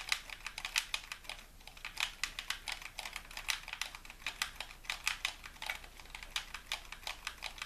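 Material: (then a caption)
Plastic. Fingertips tap and click the buttons and triggers of a white, hollow plastic game controller. The result is a steady run of quick, dry, bright clicks with almost no low end, each dying away almost instantly.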